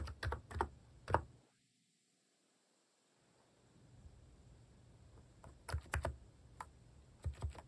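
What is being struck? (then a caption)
Plastic mechanical keyboard. Fingertips type across a compact plastic mechanical keyboard with pink and cream plastic cat keycaps. The keys give short, dull clicks in quick bursts, falling fully silent for about a second and a half. A faint background hiss then returns before another run of keystrokes.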